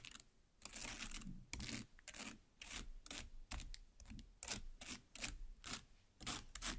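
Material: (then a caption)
Watermelon flesh. Long black nails stab into and scrape the red flesh of a large watermelon half. A series of short, wet, crunchy bursts with bright, hissy scraping and a soft low thud in each stab, separated by brief quiet gaps.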